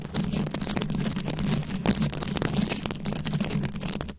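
Very long acrylic nails scratch and tap across a fist-sized round microphone head covered in plastic rhinestones and beads. The result is a dense, steady stream of scratchy clicks and rattles over a low, humming rumble centered near 200 Hz. The level stays fairly even throughout.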